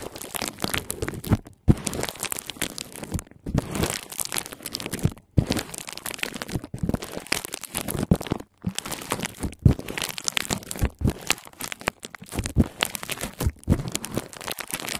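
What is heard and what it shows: A sheet of clear plastic bubble wrap laid over a handheld recorder is scratched and pressed with long painted nails and fingertips. Dense crinkling, crunching and crackling come in bursts separated by brief silent pauses, with a close, full low end beneath the bright scratchy texture.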